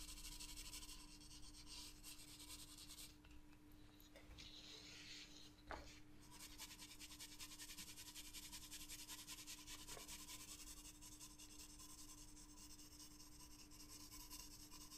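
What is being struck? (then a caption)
Graphite pencil scratching on a paper sketchbook page. A green graphite pencil scratches dense hatching strokes across a paper sketchbook page, making a steady, bright, rasping scrape of quick overlapping strokes. The scratching eases briefly around the fourth to sixth second, with a single soft tap, then resumes over a low constant hum.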